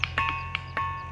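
A granite boulder is struck repeatedly and rings with bright, bell-like tones. Five quick strikes stand apart, each with a short metallic ring over a steady low hum. The sound is pleasant and musical.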